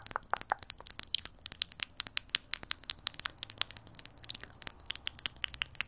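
Long nails tap rapidly on the glass bottom and sides of a small clear glass jar with a green lid. The taps make a dense run of bright, chime-like clinks that die away almost instantly.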